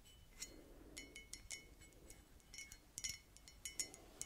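Long dark red nails tap and scratch the sides and bottom of a white ceramic coffee mug with a cartoon print, hollow and apparently empty, held up in both hands. An irregular series of bright, high clinks with almost no ring stands out over a faint, soft scratching hiss.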